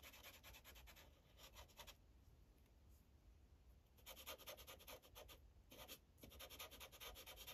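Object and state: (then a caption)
Felt-tip marker coloring on paper over a clipboard. A yellow felt-tip Sharpie marker held in the fingers rubs and scratches quickly back and forth over a thin printed paper coloring page resting on a hard clipboard. Bursts of dry, bright scratchy strokes come in runs, broken by a quieter pause in the middle and a brief gap near the end.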